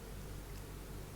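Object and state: Nothing is struck.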